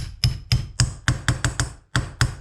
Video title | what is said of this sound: Jaguar S Type 1965 Will Not Start Part 7 | hear that sound that tells me i've got it dead flush which is absolutely where you want it to be